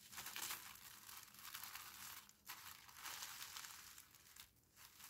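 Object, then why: Thin tissue paper. A thin, pink tissue-paper parcel with nothing hard inside is folded, squeezed and pressed flat by fingers with long painted nails. It makes a steady, bright crinkling and crushing with almost no low end, briefly dipping quieter twice before the rustling resumes.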